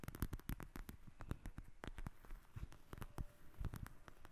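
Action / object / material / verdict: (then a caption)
tap / gel-filled eye mask with fabric cover / gel beads / none. Long acrylic nails tap and scratch a flat, soft, flexible pink fabric-covered eye mask filled with gel beads as it lies on a glass table. Rapid, irregular soft taps with a faint scratchy patter come through as quiet, deep, muffled thuds that die away almost instantly.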